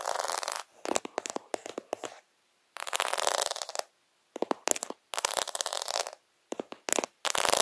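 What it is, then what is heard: Plastic faux pearl sticker sheet. Fingertips rub and scratch across a plastic faux half-pearl sticker sheet, giving bursts of dry, bright scratching broken by short silences. Quick clicky ticks from the beads come in uneven clusters with no low end.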